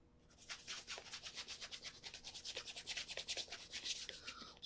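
Fingertips rub cream over the leather upper of a black Florsheim Imperial leather brogue held in the hands, a hollow shoe with a shoe tree inside. About sixteen quick, soft, bright rubbing strokes are heard in a steady rhythm, with almost no low end. The overall sound is a quiet, hissy brushing.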